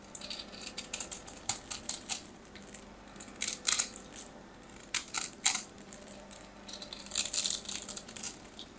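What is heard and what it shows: A palm-sized solid white bar of soap is held in the hands and scraped and carved with a metal craft knife blade, taking off flakes. Dry, bright scratching and crisp shaving bursts come in irregular clusters, with short quiet gaps between strokes.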